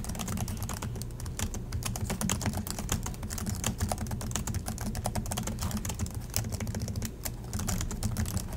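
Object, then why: Plastic laptop keyboard. Both hands type steadily with the fingertips on the black plastic chiclet keys of a silver Acer laptop resting on a desk in dim light. Rapid, crisp clicks and taps patter continuously over a steady low hum, with brief bright key snaps standing out.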